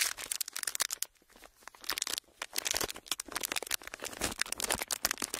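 A pleated, thin clear plastic sheet is stretched, twisted and crinkled by fingers, giving dense bursts of bright, sharp crackling with almost no low end. The crinkles come in quick, uneven flurries, with brief quieter gaps around the first and second seconds before picking up again steadily.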